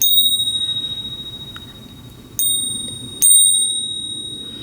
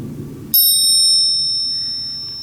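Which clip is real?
The first.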